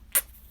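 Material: Bread.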